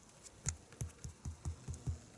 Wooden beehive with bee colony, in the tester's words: Si on tape un peu, on entend un petit peu du bruit.